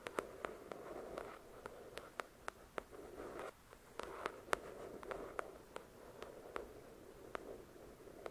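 Long, pointed dark red nails tap and scratch the glossy card cover of the paperback novel "The Shack," a solid paper book. Around twenty sharp, dry clicks with bright tips stand out over a soft, steady midrange scratching rasp. The sound is quiet overall, and each tap dies away almost at once.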